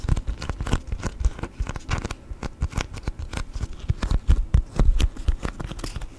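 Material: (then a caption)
Waxed cotton. A thin, folded yellow sheet of beeswax-coated cotton food wrap is bent, creased and tapped with fingertips. It makes a stiff, waxy crinkle of quick, dense crackles and soft taps with a deep, dull body, each sound dying away almost at once.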